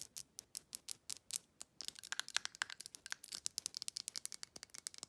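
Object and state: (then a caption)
Glass bottle with plastic lid. Long nails tap a small amber glass supplement bottle and scratch its ridged black plastic lid. The result is a rapid, quiet run of short, dry clicks with no low end and a bright, glassy tone near 1.6 kHz. The taps grow denser and overlap with scratchy rasps in the second half.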